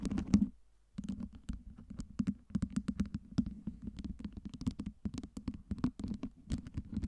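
Long nails tap and scratch the faces and top of a stacked tower of clear acrylic light-up LED ice cubes. A quick run of short, soft, dry clicks rides over a steady low hum near 200 Hz, with a brief silence just before the first second. Each tap dies away almost at once.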